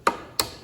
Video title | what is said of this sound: Gluing the top | goes down goes down right there it's solid